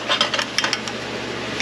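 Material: Steel.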